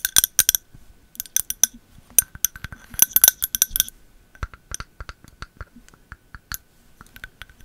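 A candle in a jar is tapped repeatedly, making bright, glassy clinks that stop almost instantly. The taps come in quick clusters, with some double strikes, and the sound is almost entirely high-pitched with very little low end.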